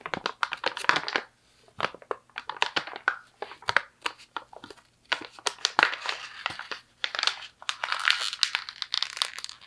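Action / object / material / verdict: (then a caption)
scrape / thin paper sheet / paper / none. A thin sheet of white printer paper is crumpled and squeezed by both hands with the fingertips. It makes dense, bright crinkling and crackling in uneven bursts, separated by short quiet pauses. The sound stays close and dry, with almost no low end.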